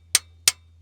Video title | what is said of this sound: Will it START? V12 Supercharged 2 Stroke GM Detroit Dump Truck SITTING for YEARS | it's a different sound a springing bouncing